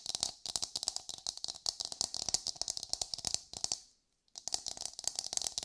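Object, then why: Coconut shell half. Long pale nails rapidly tap and scratch a hollow, hard brown coconut shell half held close, making a fast run of short, dry, bright clicks with scraping in between. The clicks stop for a brief silence near the four-second mark, then resume at the same quick pace.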